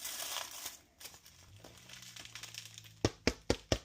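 Crinkling and rustling are heard as a freshly baked no-knead bread loaf is lifted out of a Dutch oven on a sling. A faint low hum runs underneath. The bottom of the loaf is then tapped four times, giving short, hollow thuds, and a reading of about 209°F confirms the bread is done.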